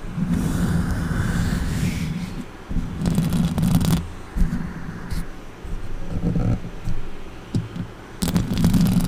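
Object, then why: Metal mesh microphone grille. Long orange nails scratch and tap the metal mesh grille of a silver microphone with both hands. The result is a dense, low, rumbling scrape that comes in uneven louder bursts, broken by short sharp taps and brief quieter gaps.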